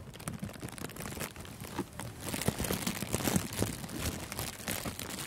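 Thin, clear, crinkly cellophane gift wrap is wrapped around a furry microphone windscreen and scrunched and crinkled with the fingers. It makes a dense, continuous crackle of quick, sharp snaps with bright, high crinkles and a soft low rustle underneath. The crinkling grows louder and busier in the second half.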